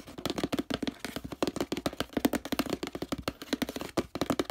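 Fingernails rapidly scratch and tap the printed paper label on a hollow orange plastic detergent bottle. A fast, irregular stream of short, dry clicks and scrapes sounds over a hollow low-mid body, with crisp bright edges and almost no ring after each tap.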